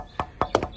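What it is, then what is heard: Tembusu wood post knocked. Knuckle knocks on a premium 4x4 tembusu wood gazebo post give a quick series of short, dry, hollow taps. Each has a midrange tone and almost no ring, like wooden clip-clops.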